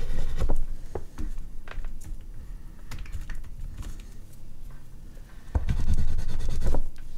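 An oil pastel stick held in the fingers is rubbed and stroked across a large sheet of artist's paper mounted on a dark board, making soft, uneven scratchy strokes over a low, dull rubbing rumble. The strokes grow denser and louder for about a second near the end, then ease off again.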